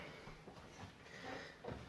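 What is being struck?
Nothing is struck.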